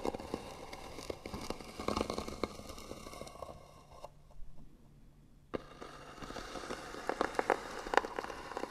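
Long natural nails scratch slowly across the flat, white-painted lid of a small rectangular hollow wooden box with beaded trim and a brass hinge. A dry, crackly scraping with scattered sharp clicks fills the clip, dropping to near silence for about a second and a half before resuming. The scratching returns with brighter, more pronounced ticks toward the end.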